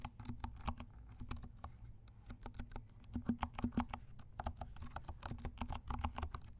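Fingertips of both hands type steadily on a compact 68-key plastic mechanical keyboard with dark plastic keycaps and silent switches. The result is a quick run of soft, muffled clicks and thuds that stop dead, with a low hum underneath, brief bright ticks, and a faint tone near 240 Hz.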